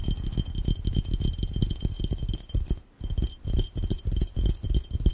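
Fingertips tap fast and hard on a clear, round, hollow, empty glass fishbowl held over the camera. The tapping makes a dense run of low, dull thumps with faint, bright glassy ringing above. There is a brief pause near the three-second mark before the rapid tapping resumes.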